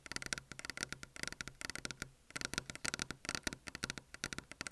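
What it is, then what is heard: Desk surface tapped with fingers. Fingers tap on a desk surface for ASMR, producing a rapid series of about 28 short, crisp taps with a brief pause near the middle. The taps are bright and dry, with strong high-frequency clicks and almost no ring.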